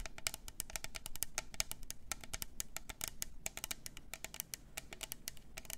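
Long nails tap quickly around the sides of a hollow, double-walled clear plastic tumbler with pink glitter, a lid and a straw. About forty crisp, bright clicks come in a rapid, uneven patter, each dying away almost instantly over a faint low rumble.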